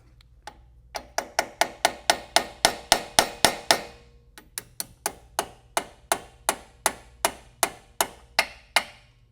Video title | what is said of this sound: Toyota Supra A90 Girodisc and CSG Install | you can hear that and tell right away when it's seated all the way that one is all the way in